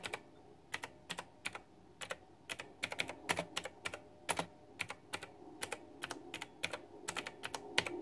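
Fingertips and long nails type steadily on a white backlit plastic retro mechanical keyboard with round typewriter-style plastic keycaps. The result is a quick run of sharp, bright clicks and clacks, each dying away almost at once over a faint low hum.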